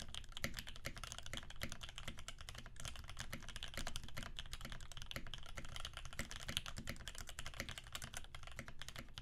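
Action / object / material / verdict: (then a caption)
tap / mechanical keyboard with PBT keycaps / PBT plastic / none. Both hands' fingertips type rapidly on a Percent Canoe 65% mechanical keyboard with a clear acrylic case, aluminum plate, cream PBT keycaps, and filmed Alpaca switches lubed with 3204. A steady, dense stream of short clacks follows, each with a bright tip over a deeper thocky body that dies away almost at once.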